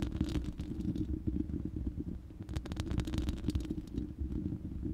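Long manicured nails of both hands scratch and tap the uncovered, hollow round steel mesh grille of a large studio microphone. The result is a dense, continuous low rumbling scrape with many quick taps layered in, and bright crackly bursts flicker above it in places.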